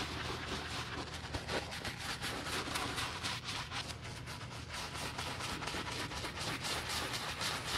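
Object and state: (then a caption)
Leather boot being brushed. A black leather men's lace-up boot, hollow and held by a gloved hand, is scrubbed on the toe with a wooden-handled bristle brush through soap foam. A steady, bright, hissing scratch of bristles carries rhythmic back-and-forth strokes over a low rumbling background.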